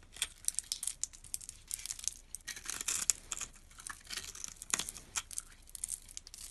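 A metal utility blade scrapes across a solid green soap bar that has been pre-scored into a grid of small cubes, crumbling the cubes off. The sound is a dry, bright crackling and scratching, with quick crisp bursts over a soft hiss and almost no low end.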